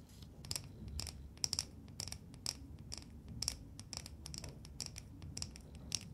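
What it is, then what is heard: Painted wooden nesting doll. A small, hollow, painted wooden matryoshka nesting doll is held in both hands and tapped and scratched with long nails. A rapid series of short, dry, bright clicks and scratches rings for only a moment, over a faint low rumble.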